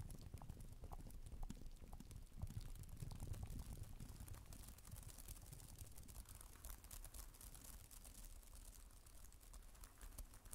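Fast typing with long nails on the plastic keys of a black tablet type-cover keyboard, with an added echo effect. Quick, bright, irregular clicks sit over a steady low rumble that carries most of the sound.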